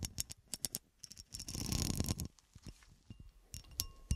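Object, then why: Cut glass horseshoe. Long nails scratch along the ridges of a solid, textured cut glass horseshoe gripped in the hand. Quick, bright clicks and ticks come first, then a louder, grainy rasp builds and fades. Scattered lighter ticks and a few sharp clicks follow, some with a faint brief ring.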